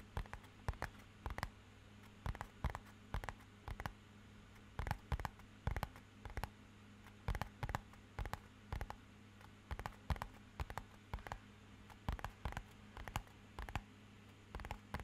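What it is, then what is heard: Cardboard box. A small, rigid, matte-black rectangular cardboard box, hollow inside, is tapped with fingernails and fingertips. It gives quiet, short, dry clicks and taps, often in quick bursts of several, over a steady low hum. Each tap dies away almost at once.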